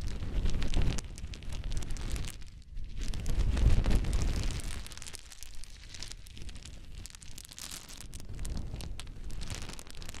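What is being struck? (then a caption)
Small wooden cubes. A pile of many small solid wooden cube chips is scooped up in cupped hands and poured back onto the pile. The result is a dense, continuous clatter and rustle of wood on wood, heavy in the low end. It swells loudest early on and again around the fourth second, then settles into softer trickling pours.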